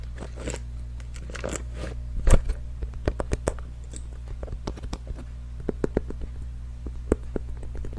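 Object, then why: Small printed cardboard box. A small, hollow, pink printed cardboard box is held in both hands and tapped and scratched with fingernails. Quick, dry, crisp taps and rustling scratches land in uneven bursts, with the loudest cluster near the middle. A steady low hum runs underneath throughout.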